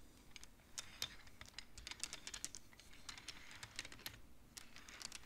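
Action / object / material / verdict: tap / wooden abacus beads on metal rods / wood / none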